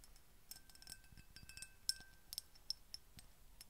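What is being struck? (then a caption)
Small glass perfume bottle. A small brown-tinted glass perfume bottle with an embossed pattern and a silver cap is held up in both hands and tapped and scratched with long painted fingernails. Quiet, bright clicks and scratchy taps come at an irregular pace, and a few sharper clinks carry faint, brief glassy rings.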